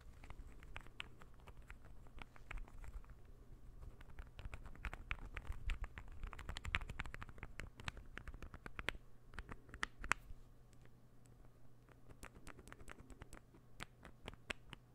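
A small, solid, assembled interlocking ball puzzle of light wood is held up and tapped and scratched with fingernails. Quick, dry, bright clicks and taps patter unevenly over soft scratching, with a steady low hum underneath throughout.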